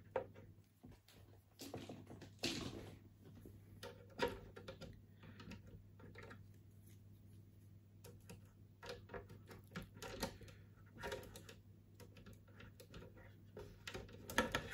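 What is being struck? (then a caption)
Molded plastic toy panel. A large, flat, grey molded plastic Borg cube toy panel with raised detailing is held upright in both hands and tapped with the fingertips along its edges. Quiet, dry plastic clicks and taps come in irregular runs, with a few sharper knocks near the start and end, over a steady low hum. Each tap dies away almost instantly.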